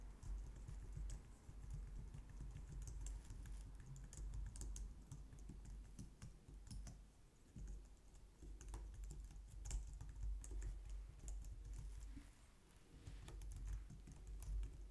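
Long nails and fingertips type on the keys of a compact, low-profile white plastic computer keyboard. A steady, quiet stream of soft, dull key taps carries mostly low thuddy energy, with occasional sharper, brighter clicks from the nails. The typing runs continuously throughout with only brief dips in loudness.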